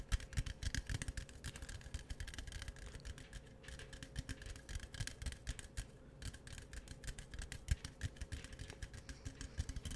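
A tall, hollow, green printed aluminum beverage can is held in both hands and tapped and scratched with fingertips and nails on its sides and top. Quick, dense taps and scratchy rustles run without pause, with dull low thumps under brighter clicky edges and a faint steady tone beneath.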